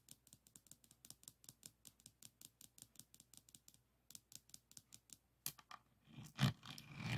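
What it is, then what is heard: Resin rhinestone diamond painting canvas. Both hands roll and press a pink plastic pen lengthwise across a small, flat Provence lavender diamond painting board covered in tiny solid resin rhinestones, lying on a wooden table. The result is a quick, fairly irregular train of short, bright clicks and rattles from the beads. It ends in a louder burst of rasping scrapes.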